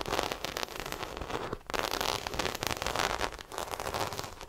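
Long acrylic nails scratch the textured side of a small black croc-embossed faux leather shoulder bag, held up by hand, hollow and apparently empty. The result is a dense, crackling, bright scratching that runs almost continuously, with brief pauses near 1.7 and 3.4 seconds between strokes.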